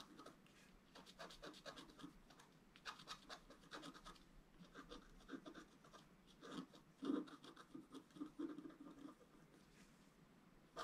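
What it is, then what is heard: Scratch-art card being scratched. A wooden stylus scratches fine strokes into a flat sheet of black-coated scratch-art paper over a colored foil layer, held flat on a table. A steady run of soft, dry, rasping scrapes is heard, with brief mid-range bursts and occasional brighter hiss. Some strokes come out louder and grittier around the middle of the clip.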